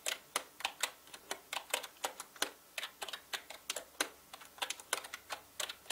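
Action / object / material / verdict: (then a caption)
tap / plastic mechanical keyboard / plastic / none. Fingertips type fast on a full-size black mechanical gaming keyboard with plastic keycaps and a hollow body, producing about 27 quick, bright clacks. Each keystroke is short and crisp with almost no ring and no low-end thump, set against a quiet background.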